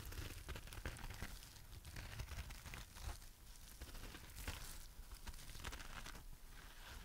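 A palm-sized, dry, porous rainbow-striped heart-shaped foam sponge is scratched and tapped with long nails and squeezed with the fingers. The result is a quiet, steady run of crinkly, crackling scratches with soft, low taps.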